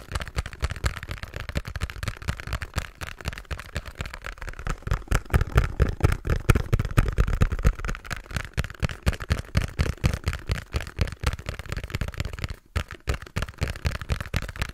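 A small, hollow pink cardboard box is tapped rapidly on its top and sides with fingertips and nails. The result is a dense, irregular run of short, dull, low-heavy thuds with a hollow boom and brief bright clicks from the nails. There is a short pause near the end before the tapping resumes.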